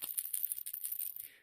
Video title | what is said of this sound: Cody'sLab - Uranium Jewelry -Deleted Video- | it makes a nice tinkling noise when it bangs against the glass